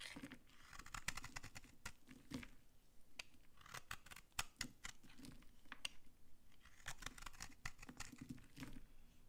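A blade scrapes a solid, dry pink soap bar held in the hand, breaking off crunchy flakes. The result is a steady run of quiet, dry crunches and bright scratchy scrapes with short, sharp attacks and almost no ring.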